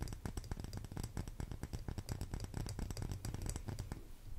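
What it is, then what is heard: Wax pillar candle tapped with fingernails. Long green nails tap rapidly along the side of a lit, solid pink cylindrical wax pillar candle, making a dense series of short, dry clicks. Each click is sharp and dies away almost instantly, with most of the sound sitting in a soft low thud beneath a faint bright tick.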